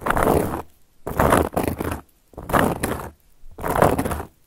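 A round, flat, solid cork board is scratched by long gold metal claw nail caps. The result is a series of dry, rasping scrapes with a broad, bright hiss, each lasting about half a second and separated by short silences.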